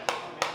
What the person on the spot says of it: tengahnya pun diam tapi nadanya masih nyaring